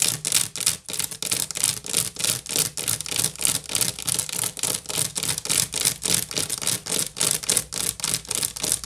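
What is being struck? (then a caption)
Woven wicker basket. Long nails rapidly scratch and tap the top of an upside-down, hollow woven wicker basket. A quick, somewhat uneven run of short, bright, rasping bursts, about three per second, has a crisp high hiss and very little low end. Each stroke cuts off quickly with almost no ring.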